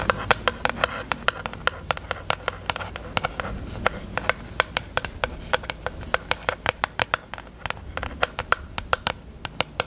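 Long acrylic nails tap on a small, hollow pink plastic eyelash case with lash trays, held open. Dozens of sharp, bright clicking taps come in a quick, irregular rhythm, each very short with almost no ring, over a low, soft background hum.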